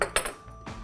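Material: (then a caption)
Metal. Four light taps on the all-metal casing of a Tokina 20-35mm f/2.8 AT-X Pro lens give short, bright metallic clinks that die away almost at once. The solid metal sound points to good build quality.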